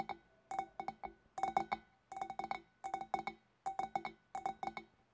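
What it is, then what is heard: Glass fish bowl tapped with fingernails. Long, black-polished fingernails of both hands tap the shoulders of a large, empty, clear glass fish bowl just below its scalloped rim. The result is quick clusters of bright, clinking taps with a hollow glassy tone around 780 Hz, each ringing only briefly before the next burst.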